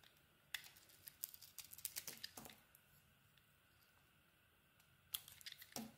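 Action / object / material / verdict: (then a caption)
scrape / bar of soap / soap / none. A metal snap-off blade shaves thin surface layers off a solid, hand-sized pink bar of soap with an embossed logo, held in the hand. Crisp, bright scraping and slicing clicks come in a dense cluster over the first couple of seconds, then fall to near silence before another short flurry of cuts near the end.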